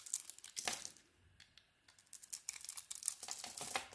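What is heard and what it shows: A utility knife blade shaves thin, crumbly curls off a solid green Palmolive soap bar with a grey-blue coating, held in the hand. Quick, dry, bright scraping and crinkling bursts come in clusters, with a near-silent pause in the middle before the shaving resumes.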